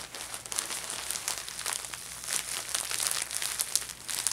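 A thin, empty orange Ulta Beauty plastic shopping bag is flattened and folded by fingertips with painted nails, then lifted and crinkled in the hands. The result is a steady stream of bright, dry crinkles and crackles with almost no low end.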